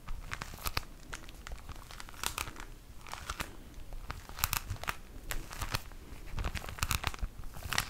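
A plastic-wrapped pack of tissue paper is crinkled with the fingers close to the mic. Irregular bursts of sharp, bright crackling and rustling rise and fall over a soft low rumble for the whole clip, with no pauses.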